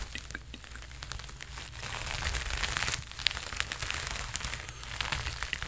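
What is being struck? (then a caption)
Sequined fabric jacket. Fingertips scratch and rub the sequined sleeves of a worn red sequined jacket close to the mic. The result is a dense, irregular stream of bright, crinkly crackles and scratchy rustling over a steady low rumble. It swells slightly in the middle, with a few sharper clicks standing out.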